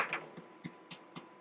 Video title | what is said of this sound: Brioche Dough & Brioche Bread | that's the hollow sound and that's another way that you know that this brioche is done